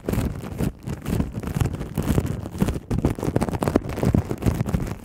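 Long nails on both hands scratch and tap clear plastic cling wrap stretched over a black microphone. The result is a dense, continuous crinkling and rustling with soft thuds, heavy in the low end, with brief dips in loudness between bursts.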